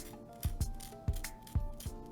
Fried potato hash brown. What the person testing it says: that's how crispy it is